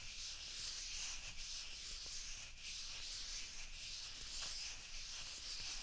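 Fingers rub and grip a small, hollow, white plastic ping pong ball in each hand. They make a steady, bright, hissing scrape with no separate hits, over a faint low rumble.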